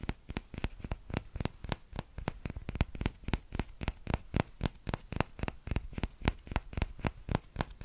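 A small, empty orange plastic ladle with a hollow, spoon-like bowl is held by its handle in one hand while the fingertips of the other hand tap the bowl. About 35 quick, soft taps follow in a loose, uneven rhythm, each a dull low thump with a faint bright click. Each tap dies away almost instantly.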